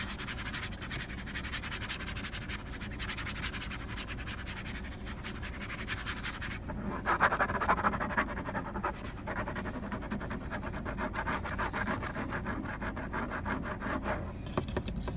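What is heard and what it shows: Fingertips and short nails rub and scratch across the large, solid, grain-textured dark vinyl-covered top of a car dashboard. The result is a steady, dry, rapid scratching texture with a low rumble underneath, briefly growing brighter and louder around the middle before settling back into continuous scratching.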